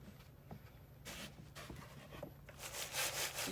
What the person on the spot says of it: You can hear how crispy they are